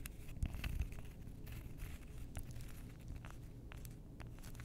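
Long nails scratch and tap along the edges and face of a stack of several flat, solid, flower-shaped cork coasters with dark edges, held close. The result is a dense run of soft, dry scratching and muffled taps over a low, rumbly background, with brief brighter clicks.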